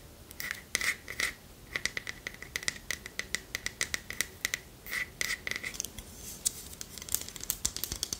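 Long nails scratch and tap across the bowl and handle of a long, thin, solid wooden spoon, making a rapid run of short, dry, crisp strokes. Each stroke is bright and scratchy with a faint tone near 2 kHz, and it stops almost instantly with no ring. There is little low end beneath the busy high-pitched scratching.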